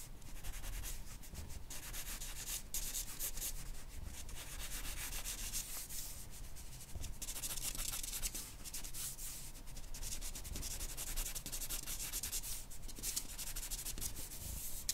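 A charcoal pencil held in the fingers draws and rubs strokes across a large flat sheet of white drawing paper resting on a board. The result is a continuous dry, bright scratching with quick stroke-by-stroke rustles and a low rumble underneath.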